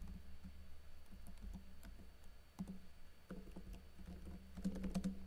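Fingertips with blue-painted nails type on a plastic backlit laptop keyboard with plastic keycaps, tapping the keys. Soft, irregular clicks and taps patter along at a quiet level over a steady low hum, with a denser burst of brighter taps near the end.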